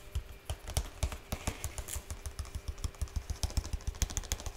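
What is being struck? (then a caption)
Printed cardboard toy box. Fingertips tap rapidly on the top surface of a large, flat, printed cardboard slime kit box resting on one hand. Around thirty short, dull thuds land in an uneven rhythm, each with a faint bright click and almost no ring. The taps sound hollow and low, much like fast typing on a keyboard.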